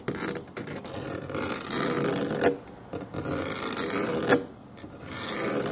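Fingernails scratch and tap the pebbled black molded foam armrest of a solid child booster seat resting on a wooden table. A dry, raspy scratching runs steadily with a mid-range tone near 480 Hz and a bright hiss, broken by two sharper, louder taps that die away almost at once.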